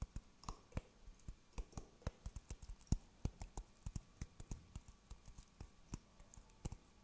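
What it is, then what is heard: Dry coconut shell half. A hollow, empty dry coconut shell half with its fibrous husk is tapped with the fingertips close to the microphone. About 34 quick, dry, quiet clicks and taps fall in an uneven rhythm, each a soft low thump with a brief bright tick that dies away almost instantly.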